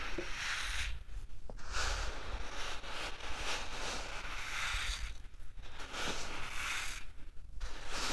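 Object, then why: Fine dry sand rubbed and poured by hand. A hand scoops and rubs loose grains in a flat bed of fine, light-colored dry sand, letting it trickle and pour back onto the surface. The result is a steady, bright, grainy hiss with a low rumble underneath, broken by brief quieter dips and a few faint clicks.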